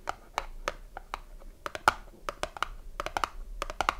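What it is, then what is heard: Cardboard soap box. A small cardboard soap box with a bar inside is turned in the hands while long nails tap and scratch its top and sides. Sharp, dry clicks come in quick uneven bursts with faint scratching between them. Each tap dies away almost at once.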